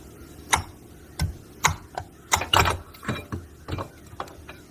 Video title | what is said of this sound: Honda 420 500 520 Rancher Foreman Rubicon Primary Gear Reduction Install - Part 2 | you'll hear this thing as you tap it into place. You'll hear it when it bottoms out.